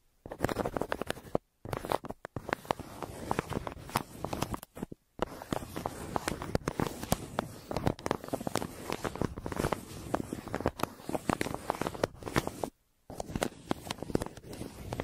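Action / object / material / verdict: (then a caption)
scrape / kraft paper mailer and wooden pencil / paper / none. A wooden graphite pencil scratches and scribbles across a flat brown recycled kraft paper mailer, a printed shipping bag lying on a table with two microphones resting on it. Dense, dry scratching strokes and faint crinkles run nearly continuously, broken by a few brief silent pauses.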